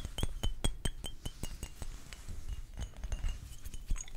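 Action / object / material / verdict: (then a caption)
tap / glass perfume bottles / glass / none. Fingers tap on a collection of glass perfume bottles, producing a quick, uneven run of short, bright glassy clinks over soft low thumps. Each tap rings high and dies away almost at once.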